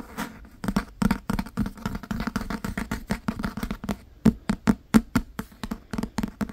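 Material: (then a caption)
Leather. Fingertips and nails tap and scratch the cover of a thick, solid black Holy Bible bound in leather or imitation leather. A rapid, uneven run of short, dull taps with a low thump near 200 Hz dies away almost instantly, with faint scratching between them.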